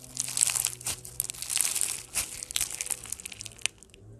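Pastel foam bead slime (floam), a solid mass of slime and polystyrene beads, is pressed between thumbs, then squeezed and stretched into a strip by fingertips. It makes a dense, crunchy crinkling of quick, bright crackles with almost no low end. A few sharper pops stand out before the crackling thins to a soft hiss at the end.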